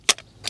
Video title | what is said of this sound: 2003 Ford Explorer - Crank No Start! P0232 Fuel Pump Secondary Circuit Check This First! Innova 5610 | You can hear the little ball in there kind of rattling around